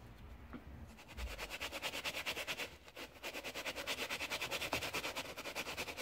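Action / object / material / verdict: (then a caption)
scrape / knit textile sneaker upper scrubbed with a bristle brush and soap foam / knit fabric / none. A gloved hand inside an Adidas Ultraboost holds its teal and grey knit fabric upper while a wooden-handled brush with white bristles scrubs it with soap foam. After a quiet first second, rapid, steady back-and-forth scrubbing strokes make a bright, hissy, foamy rasp, with a brief lull near the three-second mark before the rhythm resumes.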